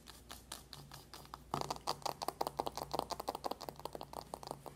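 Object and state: Cardboard makeup palette.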